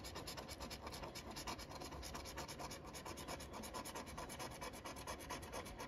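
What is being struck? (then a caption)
Cardboard scratch-off ticket with latex coating, scraped by a wooden stick. A wooden stick rubs and scratches the latex coating off the letter boxes of a flat cardboard paper lottery scratch-off ticket held flat by the fingers. The scratching is a quick, steady, dry rasping, with short bright strokes repeating at an even level throughout.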